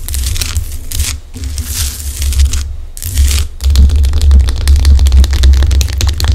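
Long acrylic nails on both hands tap and scratch a large, solid pink Himalayan rock salt chunk lamp. Bright, gritty scratching comes in bursts with short pauses, then gives way to quick, uneven clicking taps. A steady low hum runs underneath throughout.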